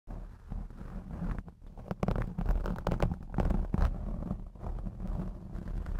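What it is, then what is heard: Foam microphone windscreen being scratched. Long blue acrylic nails on both hands scratch and rub a hollow, fist-sized black foam windscreen fitted over the head of a Blue Yeti X microphone. The result is a close, muffled, deep rumbling scrape, almost entirely low in pitch with no brightness. It swells in uneven bursts, with a brief lull near the middle.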